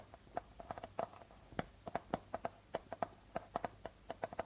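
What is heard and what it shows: Curled fingertips and short nails make fast taps and scratches on the plastic head of a hollow darbuka drum. About 22 quick, quiet taps each give a short, dry knock with a midrange tone near 690 Hz. They fall in an uneven rhythm, with faint scratching between them.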